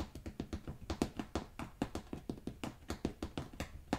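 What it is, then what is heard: Rolled carpet tapped. Fingertips tap the pile of a rolled beige carpet, then scratch the woven backing on its underside. A rapid, uneven series of soft, muffled taps is heard, each a short dull thud with a low body and very little brightness, dying away almost instantly.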